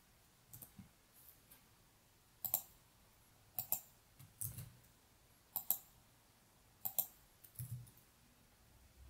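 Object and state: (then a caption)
Plastic computer mouse clicks. Fingertips press and click the buttons of a small hollow plastic computer mouse resting on a black mouse pad on a wooden desk, clicking steadily. About ten short, crisp, bright clicks sound, several in quick double press-and-release pairs, with fainter soft taps in between. Each click dies away almost instantly against a quiet background.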